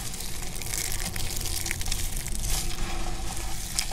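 Fingertips with dark painted nails press into a pile of thin, hard, brittle pink soap shavings with some green bits, resting on a black surface, crushing the dry flakes. A steady, dense crackling crunch runs throughout, with a heavy low rumble underneath and brighter crisp snaps scattered on top.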